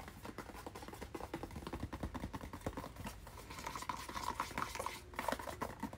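A hand-sized, hollow white and blue cardboard product package with a hang tab is held while fingernails scratch and tap across it. The result is a dense run of quick, dry taps and scratches with a hollow, papery resonance and a faint ringing tone around 1 kHz, growing a little louder toward the end.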